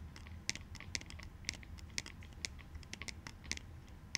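Short fingernails and fingertips tap and scratch a small, light-colored plastic clout goggles sunglasses frame with dark lenses, held in both hands; the frame is thin and hollow-ish. A quick, irregular run of dry, bright plastic clicks comes with soft scratching in between. Each tap dies away instantly, with no ring.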